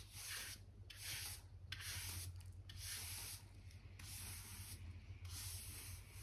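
A black hand brush with pale bristles sweeps and rubs dirt and dust along a solid wooden plank floor and between the planks. Repeated bright, hissing bristle strokes come and go over a steady low hum.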